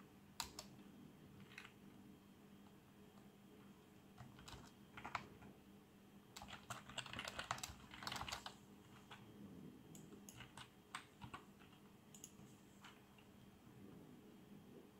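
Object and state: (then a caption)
Plastic membrane keyboard being typed on. Fingertips type and click on the keys of a black plastic membrane keyboard with RGB backlight. The result is irregular bursts of soft, bright key clicks, busiest around the middle of the clip, over a faint steady low hum.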